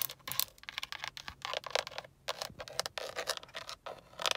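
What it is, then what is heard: Plastic steering wheel airbag cover. Long acrylic nails tap and scratch a hollow-backed black grained plastic airbag cover at the center of a steering wheel and its chrome KIA badge. The result is a rapid run of crisp, bright clicks and short scratchy scrapes with almost no ring or low end.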